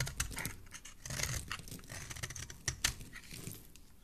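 A solid pink oval bar of soap, held in the hand, has its edges shaved with a metal utility blade while the shavings pile up below. The result is a quick, uneven run of short, crisp scraping and clicking cuts, with bright, brittle highs over a soft low thump.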